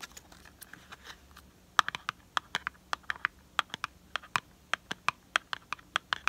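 Fingernails scratch lightly and then tap in a quick series of sharp, dry clicks on the sides of a small, hollow, printed cardboard product box held in the hand. The taps are crisp with a papery midrange knock around 1.2 kHz and a bright edge. They stop instantly with no ring, over a quiet, faint background.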